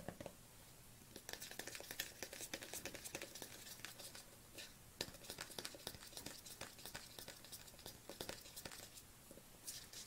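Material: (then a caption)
Plastic. Fingernails tap rhythmically on the lid and side of a black plastic collagen supplement tub, which is held upright and then tilted. The result is a quiet, steady stream of sharp, bright clicks that die away almost instantly, with a faint crinkly texture between taps.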